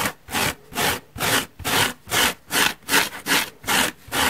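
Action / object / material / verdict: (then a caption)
scrape / large porous foam sponge scratched with fingernails / foam / none. Long painted nails scratch the surface of a large, soft, holey yellow porous foam car sponge block lying on a wooden table. The sound is a steady rhythm of dry, bright, hissy scratching strokes, about two to three per second, with brief quiet gaps between them and very little low end.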